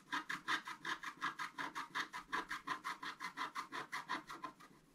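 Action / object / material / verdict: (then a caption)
scrape / black-coated scratch-art paper card scratched with a wooden stylus / coated paper / none. A wooden stylus scratches back and forth across a thin, flat sheet of black-coated scratch-art paper lying on a table. Each stroke makes a dry, raspy scratch centered in the upper mids with a bright, hissy edge. The strokes come in a steady, rapid rhythm of about two and a half per second and fade slightly toward the end.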